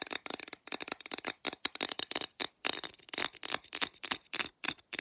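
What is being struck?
Aluminum drink can.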